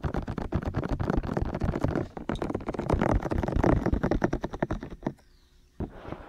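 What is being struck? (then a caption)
Silicone ear shells of a binaural microphone. Fingertips tap directly on the two hollow, hand-sized white silicone ear shells of a 3Dio binaural microphone. They make a fast, uneven run of dull, bassy thumps with short decays. The tapping stops for about half a second of near silence, then resumes more softly.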